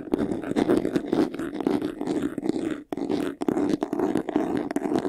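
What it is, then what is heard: Faux leather jewelry box scratched. Fingernails scratch quickly across the side panel of a closed, hollow, medium white textured faux-leather jewelry box. The result is a dense, rapid scratching with a steady hollow resonance around 300 Hz and bright rasping edges, broken by a brief pause near the three-second mark before resuming.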